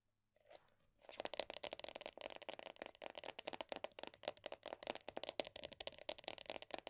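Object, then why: Plastic cosmetic tub lid. Long dark-painted nails tap and scratch quickly on the black printed lid top of a medium round plastic The Body Shop body butter tub standing on a soft surface. After a faint, quiet start, a fast, dense run of dry, bright clicks and crackly scratches sets in, each tap dying away almost instantly over a light hollow plastic tone.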